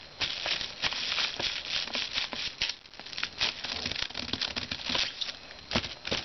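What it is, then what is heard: Plastic bubble mailer envelope. Fingertips tap and scratch the surface of a flat, hollow white plastic padded bubble mailer that likely holds a book, lying on a desk. The result is a steady run of bright, crinkly plastic taps and scratchy rustles, with many short, sharp clicks and almost no low end.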